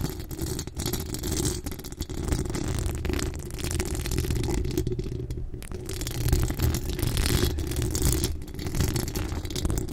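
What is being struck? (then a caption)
Steel mesh microphone grille. Long acrylic nails from both hands scratch the hollow steel mesh grille of a pink decorated microphone. The result is a continuous, dense scratching and rattling with a deep, boomy rumble underneath and a faint bright hiss on top, swelling and easing without a break.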